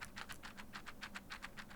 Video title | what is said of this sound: 【 G913 TKL vs DeathStalker V2 PRO TKL 】今、買うべき「 薄型・ワイヤレス 」ゲーミングキーボードはどっち！？【 徹底比較 】 | キーキャップがスイッチとぶつかる音がものすごく聞こえてきます